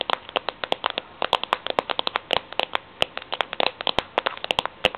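Long nails tap and scratch across the concentric ridges of a steel tin can lid, producing about 38 quick, bright metallic clicks in an irregular stream over a faint hiss. Each tap is sharp and dies almost instantly, with a slight tinny ring and little low end.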